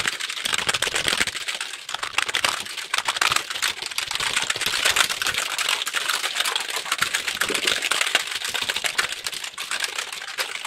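A full-size, hollow black plastic computer keyboard is held up in both hands and then raised overhead while fingertips press and tap its keys very quickly. The result is a dense, continuous stream of bright, dry plastic clicks with almost no low end and very short decay.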